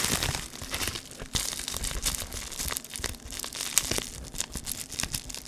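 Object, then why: Foil-backed plastic bubble wrap sheet. A flat square sheet of silvery metallic foil bubble wrap with a dark grid pattern is held in both hands close to the mic and crinkled and pressed with the fingertips. The sound is a dense, bright crackle of crinkling and tearing-like rustles with many quick sharp snaps and a softer low rumble beneath, rising and falling throughout.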